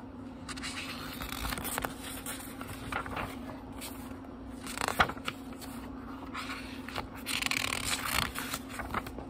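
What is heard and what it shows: Fingertips fan through the paper page block of a small book and turn single pages one at a time. Soft, crisp rustles and bright papery swishes and flicks come in uneven bursts, with a sharper snap near the middle, over a faint steady low hum.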